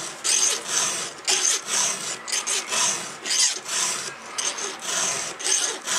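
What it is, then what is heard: Steel chainsaw chain being filed. A gloved hand strokes a round steel file, held in a red guide, across a cutter tooth of a solid steel saw chain on its bar. About eleven bright, hissing scrapes repeat at a steady rhythm, each with a short rasping tail.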